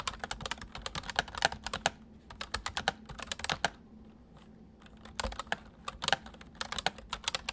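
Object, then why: Plastic mechanical keyboard. Fingertips of both hands type on a white full-size MSI plastic mechanical keyboard with hollow keys, producing quick bursts of sharp, bright clicks. A short lull in the middle gives way to another run of fast keystrokes, each click dying away almost instantly.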